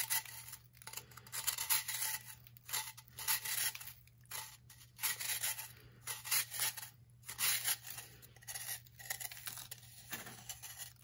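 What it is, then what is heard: Compressed baking soda block, scraped. A metal knife blade is dragged down the face of a hand-sized, upright block of compressed, blue-tinted baking soda on a wooden table, shaving off powder that piles below. Repeated dry, gritty scrapes come in bursts with short pauses between them. The sound is bright and crisp, with almost no low end and a steady low hum underneath.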